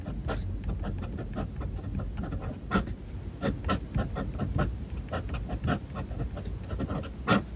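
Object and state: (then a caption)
Fountain pen writing on a paper notebook page. A steel-nibbed fountain pen scratches handwritten characters across a white paper notebook page resting on a desk. Soft, dry scratching strokes run steadily over a low, muffled background, with brief sharper ticks as the nib lifts and lands between strokes.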